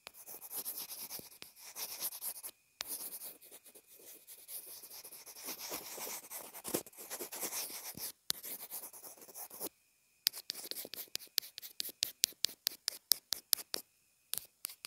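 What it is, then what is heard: Plastic earphone remote. A pencil tip scribbles across the plastic housing of a small white inline earphone remote and mic. Bright, dry scratching runs in bursts with short pauses, then turns into a quick string of sharp, separate ticks toward the end. There is no low end and no ring after each stroke.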